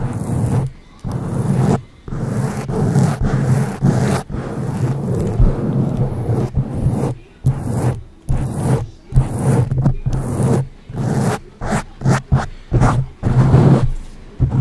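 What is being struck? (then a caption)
Foam microphone windscreen. Long acrylic nails on both hands scratch and rub the soft, porous black foam windscreen of a silver condenser microphone. The result is a close, muffled, bass-heavy rumble and rustle centered low around 130 Hz. It comes in repeated scratchy bursts separated by brief silences, with almost no high content.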